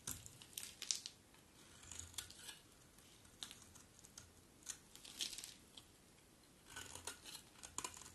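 A metal utility blade scrapes and cuts flakes from the edge of a hand-sized solid bar of dry blue-and-white striped soap held in hand. Bright, crisp scraping and crackling bursts come in short clusters, with quiet pauses between them.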